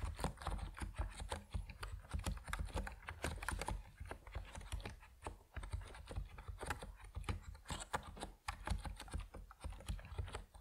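Fingertips type steadily on an Epomaker NiZ Plum Atom 68, a compact plastic mechanical keyboard with white and purple PBT keycaps. The keystrokes come as quick, short, muted clacks with a low-weighted thock and little ring. The typing flows continuously, with brief lulls around the middle and near the end.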